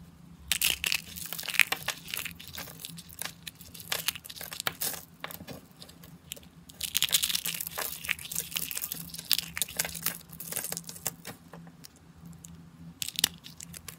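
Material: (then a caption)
Soap. Fingers with painted nails squeeze and crush dry, thin pink-and-white soap shavings, rolled into rosettes and pieces, into brittle chips. The sound is dense, bright, crackling crunches that come in bursts and ease between squeezes, over a faint steady low hum.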